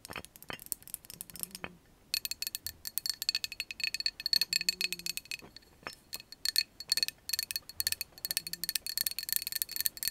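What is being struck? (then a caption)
Glass drinking jar with bamboo lid. A glass can-shaped drinking jar with a bamboo lid and a glass straw, some liquid at the bottom, is held in the hands and tapped on its glass sides with long acrylic nails. Rapid, bright clicking taps come in dense bursts with a clear high ringing tone, nearly all the energy sitting in the high range. Short low hums surface between the tapping runs.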